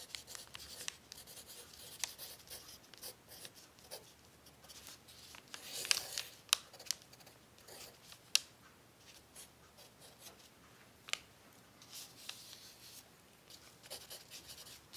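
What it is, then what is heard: Crinkled paper sheet. A pencil tip scratches across a thin, crumpled brown paper sheet resting on a table while writing out cookie recipes. Soft, bright scratching and faint crinkling run steadily throughout, broken by occasional sharp, brief ticks, with almost no low end.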